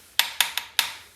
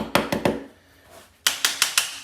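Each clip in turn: First: Five crisp, high ticks with almost no ring or low boom: a firmly bonded ceramic floor tile. Second: Seven sharp, clacky taps in two runs on a ceramic floor tile that has come loose from its bed.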